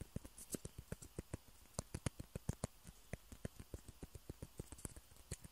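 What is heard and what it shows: Two small hollow white plastic ping pong balls held in the fingertips of both hands are tapped and scratched with the nails. Quick, dry clicks with no ring follow one another unevenly, about 21 distinct taps over a few seconds, each with a low thump and a faint bright tick, between soft scratching.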